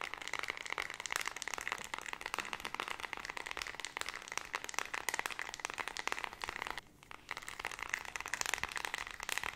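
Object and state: Plastic remote control.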